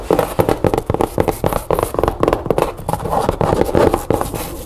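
Long nails rapidly tap and scratch the side walls and corners of a hollow, empty, medium chevron-print fabric storage bin with stiff cardboard board walls. The result is a quick, irregular run of about two dozen dull, hollow knocks centred around 430 Hz, with soft scraping between them. Each knock dies away almost instantly, with no ring.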